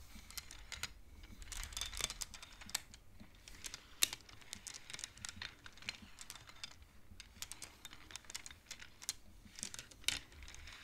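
Fingertips and nails slide the colored wooden beads along the metal rods of a large wooden-framed abacus, knocking them together. The result is a quiet, irregular stream of dry, bright clicks and clacks that stop instantly with no ring. A faint low rumble sits underneath.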